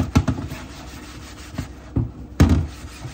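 Gloved hands scrub a flat, solid, translucent plastic cutting board lying in a sink with a yellow-green sponge, two knives resting beside it. About five dull, low-pitched scrubbing strokes stand out above a soft, continuous rubbing, with little brightness and short decays.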